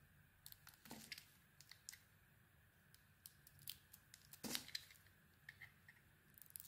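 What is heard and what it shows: A small metal blade held in the fingers scrapes and shaves a solid, hand-sized cream bar of soap with a black edge. About twenty quiet, crisp, bright scraping strokes come at an irregular pace, each fading almost at once. The two strongest strokes, near one second and four and a half seconds, are fuller and grittier.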